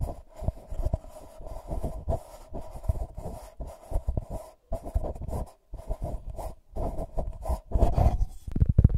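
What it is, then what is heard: Gold foil paper cup. A hollow, empty gold-foil paper cup is held over a Tascam mic while fingertips and short nails scratch and tap its foil surface. Irregular bursts of close, scratchy rustling and soft taps come with a strong low thump and a papery midrange crackle, broken by brief silent gaps. The sounds grow louder and denser toward the end.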